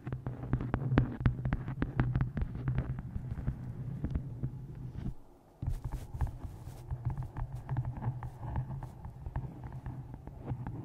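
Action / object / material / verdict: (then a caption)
tap / hardcover book cover / cardboard / none. Long painted nails tap and scratch the cover of a dark hardcover book with a square photo inset, held flat on top of a microphone. Rapid, dense taps land as deep, muffled thumps with a low boomy hum, mixed with soft scratching. The sound drops almost to silence for a moment at the halfway point before the tapping resumes.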